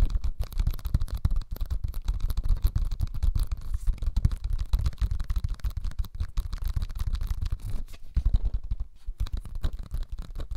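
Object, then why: Small cellulose sponge. A small, flat, yellow cellulose sponge, porous and soft, is held in both hands close to the mic and scratched and squeezed with the fingertips. It produces a dense, continuous stream of short, muffled scratching crackles, heavy in low rumble with only faint brighter grit on top. The texture stays steady for about ten seconds, easing briefly just before the ninth second.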